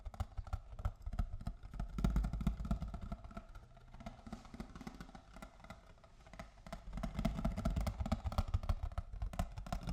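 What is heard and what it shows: A box of cocoa is tapped with fingers and nails in quick, uneven bursts of soft, dull knocks. The knocks are mostly low and hollow and die away fast. They get louder around the second and seventh seconds and quieter in between.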